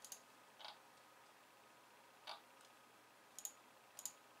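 Long painted nails type on a pink low-profile plastic keyboard with white keys resting on a wooden desk. Quiet, bright, crisp clicks arrive in sparse, irregular bursts, some as quick double taps, each dying away almost at once over a faint steady hiss.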